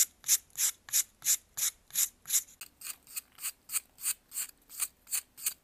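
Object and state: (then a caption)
Pressed baking soda block scraped. A metal knife scrapes a solid white, faceted, pressed baking soda block held in blue-gloved hands. It makes a steady run of short, dry, raspy scrapes, about three per second, bright and high with almost no low end. Each stroke cuts off cleanly without ringing, and the strokes turn slightly brighter and crisper partway through.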